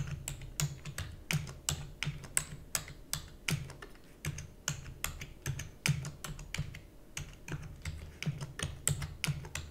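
Fingertips with long natural nails rapidly press the keys of a black full-size plastic computer keyboard with hollow key housing, typing. Around forty quick, dry clacks follow one another in a steady stream, each pairing a bright, sharp click with a hollow low thump that dies away almost instantly.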